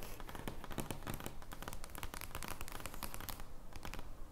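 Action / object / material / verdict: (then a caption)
scrape / large thin cardboard playing card / cardboard / none. An oversized, thin cardboard joker playing card lies flat on a wooden table while long blue nails scratch and tap across its surface. The result is a steady stream of dry, crinkly scratches and quick papery clicks, with bright crackle over a soft, low body. The taps come in an uneven rhythm.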